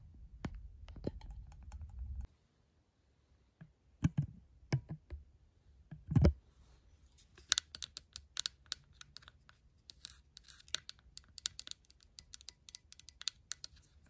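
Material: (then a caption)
Silicone. A pink silicone and plastic drink cup lid with a short hollow straw is tapped and scratched by long black matte nails. A low rumbling scrape opens the clip and breaks off into near silence. A few louder thuds follow, then a long run of quick, bright, clicky taps.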